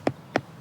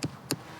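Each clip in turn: First: hollow-sounding filled stone hole. Second: solid natural subsoil.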